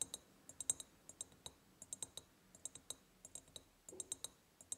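Long painted nails tap quickly on the sides of a large, empty, hollow ribbed glass jar. The result is a rapid run of short, bright clicks with a high glassy ping and almost no ring or low end.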